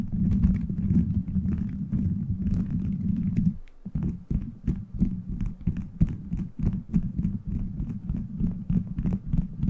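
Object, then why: Beaded plastic microphone cover. Fingertips tap and scratch a beaded plastic gummy-bear cover on a microphone. A dense, muffled low rumble of continuous scratching fills the first few seconds, then drops briefly before giving way to irregular quick taps with faint bright clicking over a thick low-end thud.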